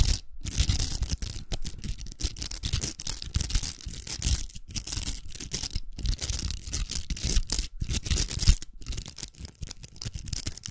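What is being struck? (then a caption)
Plastic velcro hair roller. Long nails scratch the outer velcro of a large, hollow pink plastic velcro hair roller held facing the camera. The sound is a dense, crackly rasping with bright, hissy texture and a low rumble underneath. It runs almost continuously, broken by a few brief silent pauses.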